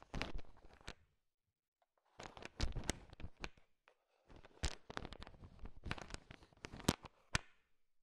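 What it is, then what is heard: Candy-coated chocolates clicking together. A thin wooden stick stirs a large pile of small, solid, sugar-shell-coated M&M chocolate candies, and the candies click and rattle against each other. The dense, sharp clicking comes in three bursts separated by short silences.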